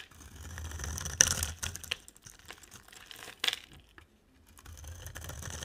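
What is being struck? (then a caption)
Bar of soap. A utility knife blade shaves and scrapes a solid, dry, oval light-green bar of soap with a dark rim. Crisp, bright scraping and crackling run throughout, broken by two sharper snapping cuts, with a faint low rumble underneath.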